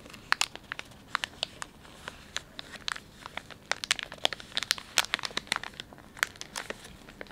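Thumbs and fingertips rub and crinkle the soft plastic film of a filled, palm-sized Dettol wet wipes pouch. Dense, irregular bursts of sharp, bright crinkling crackle over a quiet hiss, with almost no low end. Each crackle snaps off almost instantly.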